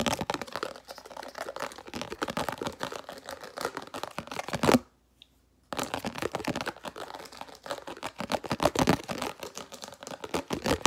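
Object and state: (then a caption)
Plastic food container lid. A small translucent red round plastic food storage lid is held in one hand and rapidly tapped and scratched with the fingernails of the other. Dense, crisp clicking and scraping runs steadily, breaks off into near-silence for about a second just before the middle, then resumes at the same fast pace to the end.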